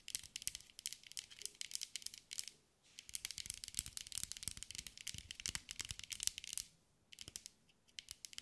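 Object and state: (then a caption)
Glass mosaic ball. Long gray acrylic nails tap and scratch a hand-sized ball, likely hollow, covered in small green mirror-glass mosaic pieces and held in both hands. Rapid, bright, crisp clicks and scratchy crackles come in dense bursts, with brief pauses just before 3 seconds and around 7 seconds. Each tick is dry and stops at once, with no ring.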